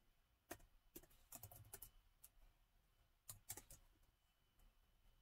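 Fingertips of both hands type short, rapid taps on the solid black plastic chiclet keys of a gold metal-bodied laptop. About eleven quiet, crisp clicks come in two uneven bursts, each dry and brief with a bright edge over a soft low thump.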